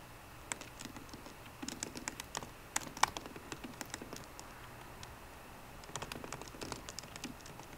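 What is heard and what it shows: Fingertips of both hands type on a 13-inch MacBook Pro keyboard with plastic keys in an aluminum body. Quick bursts of light, dry clicks with bright edges rattle along, then pause briefly before another flurry of typing.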